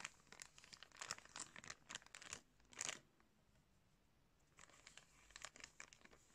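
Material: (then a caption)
Plastic. Fingertips crinkle a thin clear plastic bag wrapped around a pair of blue sunglasses, held close. Bright, dense crinkling comes in bursts through the first three seconds, then drops to a near-silent pause before softer crinkles return toward the end.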